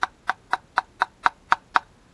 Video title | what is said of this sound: Fake VS Real:Fake BeeR Rev Limiter | if you tap it it sounds Hollow cuz it there's nothing in there